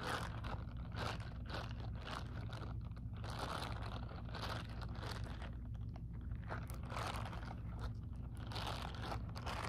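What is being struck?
Textured silicone glove scratched and tapped with fingernails.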